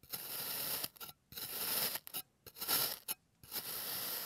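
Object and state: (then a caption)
Kinetic sand being sliced. A clear plastic blade slices thin layers off the legs of a solid, hand-sized teddy-bear shape molded from blue kinetic sand, resting on a green surface. Each cut gives a bright, gritty, crunchy scrape lasting up to about half a second, with short clicks and brief silences in between.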